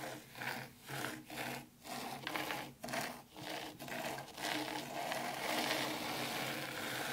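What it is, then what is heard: Fine dry sand being scratched. Two hands with long pointed pink nails scratch and drag through fine dry white sand in a shallow black round tray, leaving wavy grooves. About eight rhythmic, grainy scraping strokes rise and fall, then merge into a steady, bright hiss of shifting sand.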